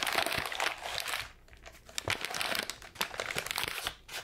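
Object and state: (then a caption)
Crumpled wrapping paper. A sheet of light grey-white wrapping paper is balled up in the hands and crumpled and crinkled with fingers and palms. It makes dense, bright crackling and crunching in bursts, with a quieter lull midway and a brief dip near the end.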